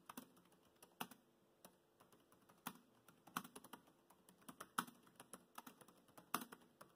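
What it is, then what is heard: Plastic laptop keyboard. Fingertips tap the black plastic keys of a laptop keyboard while typing. The keystrokes come as short, dry clicks and soft taps at an uneven pace, with occasional louder strikes standing out. Each click dies away almost at once against a quiet background.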